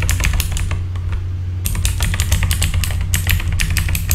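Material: Plastic.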